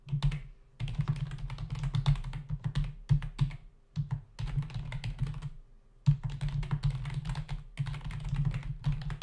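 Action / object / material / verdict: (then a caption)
tap / plastic membrane computer keyboard / plastic / none. Fingertips of both hands type rapidly on a full-size black plastic membrane keyboard with hollow keys resting on a dark desk. The result is a dense stream of soft, hollow clacks with a low, thuddy body and brief lighter ticks, broken by a few short pauses between bursts of typing.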